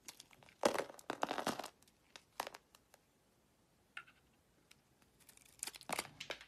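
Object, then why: Bar of soap. A utility knife blade carves thin curls from a solid oval green bar of soap held in the palm, scraping and cutting. Crisp, crackly scraping bursts of varying length come in uneven clusters, separated by quiet pauses.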